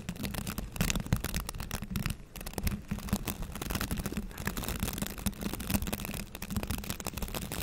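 Fingertips scratch and flick along the rows of stiff white-tipped bristles on a green plastic scrub brush, giving a dense run of quick crackling, rasping flicks. The sound is close and bristly, with a low thrumming body under a scratchy texture.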